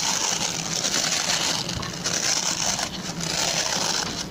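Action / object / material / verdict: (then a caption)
scrape / plastic pin-bristle brush / plastic / none. Fingertips and short nails scratch and rub the stubby plastic pin bristles of a hand-sized oval white plastic brush. The result is a continuous, bright, dry rasping with brief brighter bursts and a few short dips in loudness throughout.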